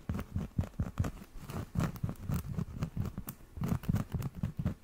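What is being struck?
Cork coaster.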